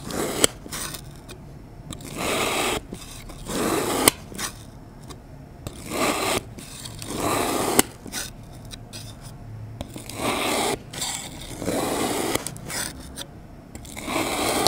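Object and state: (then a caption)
Kinetic sand being cut. A metal utility knife blade slices through a small, solid dome of lime-green kinetic sand resting on a cardboard or fiberboard surface. Each cut makes a gritty, broadband scraping rasp that swells over about a second, with occasional sharp clicks, between quieter pauses. The cuts come at an uneven pace and have no ring or echo after them.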